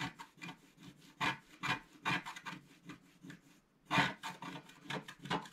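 A wooden stylus scratches away the black coating of a flat black-coated scratch-art paper sheet held down by one hand. It makes a quick series of dry, raspy strokes, each a short bright burst with a faint low body. There is a brief pause before a louder stroke near the four-second mark, then the scratching continues.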